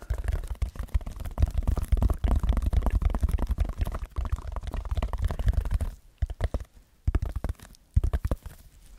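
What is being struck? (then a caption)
Textured foam sheet. Fingertips scratch and tap a red textured foam block held close to a microphone, making deep, muffled, rumbling scrapes. The rubbing is dense and continuous for about six seconds, then breaks into sparser soft thumps and brief scratches with quiet gaps between them.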